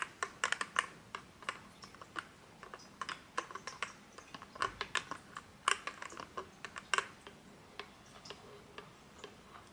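Fingertips and nails repeatedly flip open and snap shut the hinged, metallic-look plastic flip-top cap on a medium plastic Bath & Body Works lotion bottle, partly full of white lotion. About 37 sharp, dry clicks sound with very short decay, centered around 1.1 kHz with bright highs, at an irregular pace over a quiet background.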